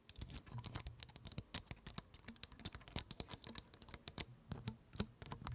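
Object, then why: Pine cone with woody scales. Long acrylic nails scratch and flick the woody scales of a large, dry, open brown pine cone held in front of the mic. The result is a quick, uneven run of dry, bright clicks and crackles, like typing, each stopping almost instantly with no ring, over a faint low rustle.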